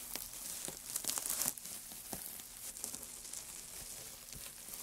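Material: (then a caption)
Wood. Gloved hands dig into a loose heap of thin, light wood shavings, scrunching and stirring them. A dry, bright crinkling rustle is heard, with quick crackles and a denser burst of scrunching near the middle before it settles back into steady, soft stirring.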